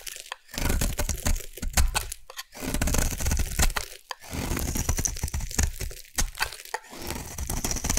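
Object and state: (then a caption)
Bar of soap being shaved. A metal blade shaves along the edge of a solid orange rectangular bar of soap in a run of quick passes. Each pass gives a dry, crackling crunch with a low thud underneath and a bright, gritty scraping edge. The strokes come in close bursts with brief pauses between them, and each one stops with almost no ring.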